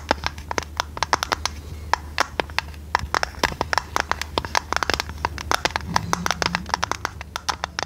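A hand-sized, decorated square metal tea tin with a domed lid, hollow, is held and tapped and scratched with long red nails. Dozens of quick, dry clicks land in an irregular stream, each with a short ringing knock around 960 Hz and bright edges, over faint scratching and a steady low hum. The taps die away almost at once.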